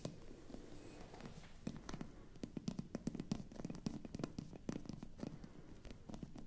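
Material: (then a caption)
Glass. Long nails scratch across the top of the glass stopper of a hollow, empty-looking frosted glass bottle. The result is a quiet, dry series of rapid scratchy ticks and crackles with a faint low hum near 200 Hz. Short bright clicks grow denser and sharper after the first second and a half.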